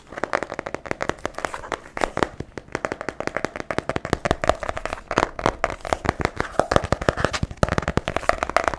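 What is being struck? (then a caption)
Hardcover book with cardboard cover. A solid blue hardcover book, about A4 size, is held upright in one hand in front of the microphone while its cardboard cover is tapped rapidly and continuously. The taps are short, dry clicks with almost no ring, carrying a hollow tone around 570 Hz, and they keep a steady, busy rhythm for the whole clip.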